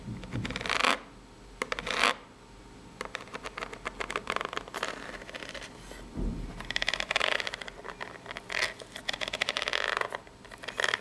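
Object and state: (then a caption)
Corrugated cardboard box. Long pink natural nails scratch and tap the ribbed top of a small, hollow, brown corrugated cardboard box. Bright, dry scraping bursts alternate with rapid clusters of light, crisp taps that die away almost instantly, with quiet gaps between passes.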